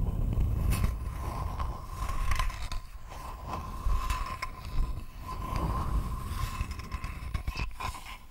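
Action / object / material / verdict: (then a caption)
scrape / thin wooden board / wood / none. A thin, flat, rectangular wooden board held close to the mic is scratched with long fingernails, producing a steady run of dry scraping strokes. The strokes form separate swells over a low rumble, with a faint steady hum and bright flicks of texture on each scrape.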